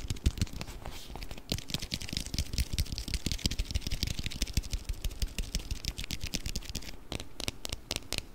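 Fingernails tap and scratch a small round clear plastic container with a blue lid, filled with orbeez, held close to the mic. A dense, steady stream of quick dry clicks and scratchy rustles comes through, each with a soft low thud underneath and a bright crisp edge on top. The taps stop short with no ring.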